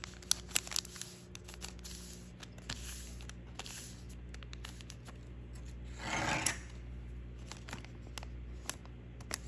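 Thin patterned origami paper is folded into a paper crane, with fingertips pressing and creasing the edges against a wooden table and rubbing the paper so it crinkles. Quiet, sharp crisp ticks recur throughout over a faint steady low hum, with a longer, louder papery rub and crinkle around the six-second mark.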